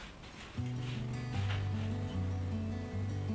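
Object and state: Nothing is struck.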